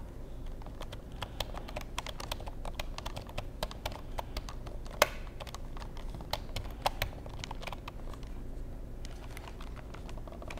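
Fingertips tap and press the keys of a hollow black plastic wireless keyboard, making a steady stream of short, crisp clicks and clacks over a low, constant hum. A couple of sharper, louder clacks stand out partway through.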